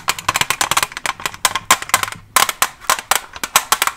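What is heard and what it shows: Long nails covered with paperclips rapidly tap a Staedtler pencil package, a plastic blister on a printed cardboard back holding pencils. About 28 quick, dry clicks come in uneven bursts, each bright with a hollow plastic tone near 1 kHz. Every tap dies away almost instantly.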